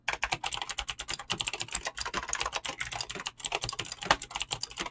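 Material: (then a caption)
Plastic. Fingertips type fast on a mechanical keyboard with clicky green switches and PBT plastic keycaps. A rapid, steady stream of bright, crisp clicks follows, each short and dry with almost no low end.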